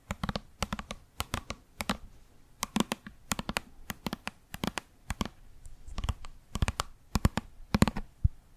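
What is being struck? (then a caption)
Small plastic cosmetic cream tube. Long manicured nails tap and scratch a small squeezable plastic tube of cream, apparently full, with a red and green watermelon-themed label, held in one hand. The sound is a rapid, irregular run of short, dry clicks with a low body around 200 Hz and brief bright ticks. Faint scratching fills the gaps between them.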